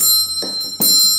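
Metal servant call bells in the old kitchen of Palacio Larraín, once used to summon the servants when the owners of the house needed something, are rung. A bright, high-pitched metallic ringing sustains throughout, with a fresh burst of jingling partway through.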